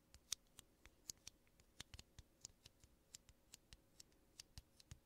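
Fingertips and nails tap and scratch two small, hollow, empty aluminum coffee capsules of the same kind, one held in each hand in front of the mic. About eighteen quiet, bright, dry ticks and clicks are heard, each stopping at once with no ring, over a faint scratchy rustle.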